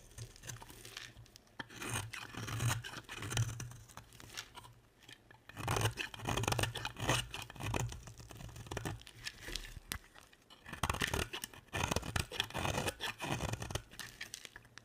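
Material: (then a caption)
Soap. A box-cutter blade carves and scrapes long shavings from the edge of a solid, dry, hand-sized bar of blue and white striped soap. Dense, crunchy scraping and tearing sounds come in bursts, with bright, gritty texture and a low rumble under the strokes. Short pauses separate the louder stretches of cutting.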